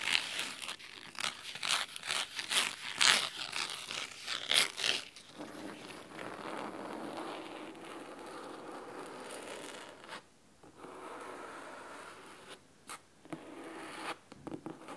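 Fingernails scratch the cloth spine of a large, thick, red fabric-covered hardcover book lying flat, then move to its top page edge. The first few seconds are quick, bright, crisp scratching strokes; these give way to a softer, steady, hissy rasp, broken by brief pauses and a few last sharp scratches.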